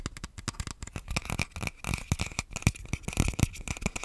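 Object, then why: Plastic controller grip. Fingers and nails scratch and tap along the rails and shell of an empty, hollow black plastic Joy-Con grip. The result is a rapid, uneven stream of short, dry clicks and scrapes, with soft low thumps underneath and a bright, crackly texture on top.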